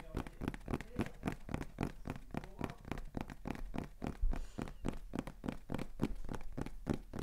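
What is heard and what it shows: A small, hollow beige kraft cardboard box is held in both hands and tapped rapidly with fingertips and nails. The result is a fast, steady stream of dry, hollow taps with a low, thuddy body and very little ring.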